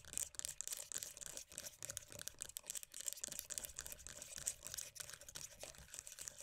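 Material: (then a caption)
Plastic. Long dark-painted nails rapidly tap and scratch the lid and rim of a closed, filled round black-and-mint plastic body butter tub with a printed green-tea lid. The result is a quiet, continuous stream of crisp, dry plastic clicks and scrapes that are mostly bright and high-pitched, with almost no low end and no ring after each contact.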